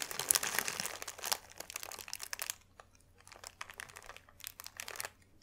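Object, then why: Thin paper sheet. A thin white paper sheet is held in both hands over a dark velvet cloth and crumpled and squeezed with the fingers. It makes a dense, bright crinkling crackle for the first few seconds, then settles into quieter, scattered crackles and crunches.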